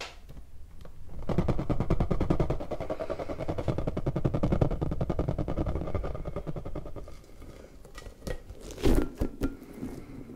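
An orange rubber puffer ball is squeezed hard by fingers so its smooth inner bubble bulges out, then rubbed and squeezed again. A dense run of rapid, low, crackling rubber rubs fills most of the clip before fading. A few louder squeaky rubber bursts follow near the end.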